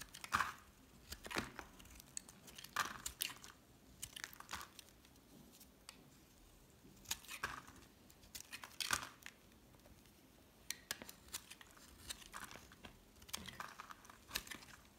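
A solid green rectangular bar of soap held in the palm is shaved with a metal utility knife blade in scraping, scratching cuts. Short, dry, crisp bursts of bright scraping come at irregular intervals against a quiet background, with very little low end and almost no ring after each stroke.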